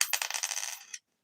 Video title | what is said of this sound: Thursday nite Chat with T~BIRD Stacking is live! | It sounds like copper to me.